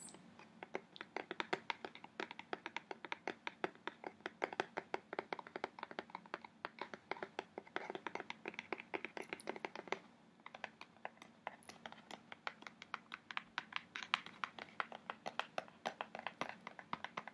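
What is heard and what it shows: Long nails and fingertips tap and scratch the side of a medium kraft cardboard box printed with orcas, held upright, closed and seemingly light. Rapid, dry, bright clicks and scratches follow one another with almost no ring, over a faint steady low hum.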